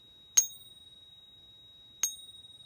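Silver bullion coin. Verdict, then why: Real. An American Silver Eagle silver bullion coin is pinged twice against a steady 3800 Hz reference tone, giving two bright, high-pitched rings that fade quickly. Its ring matches the reference tone, consistent with genuine silver.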